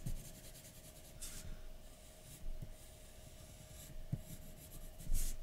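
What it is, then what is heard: Pencil shading on a paper sheet. A graphite pencil held in the fingertips scratches and rubs short shading strokes around the eye and nose of a drawing on a large, flat white paper sheet resting on a dark table. Soft, dry, papery rasps come in brief bursts over a quiet, steady low hum.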